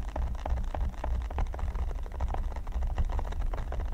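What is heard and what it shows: Fingernails on both hands scratch and tap the studs of a flat, solid red silicone pyramid mat. The result is a dense, continuous patter of short, dull taps and scratchy rustling, heavy in low thumps, with brief knocking accents that fade almost instantly.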